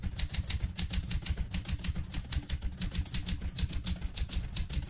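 A vintage Smith-Corona Galaxie Twelve manual typewriter, with a mostly metal body, plastic keys and paper loaded, is typed on continuously by fingertips with long red-painted nails. About 27 quick key presses and type bar strikes come in a steady rhythm, each a bright, sharp click over a low thumping rumble, and each dies away fast.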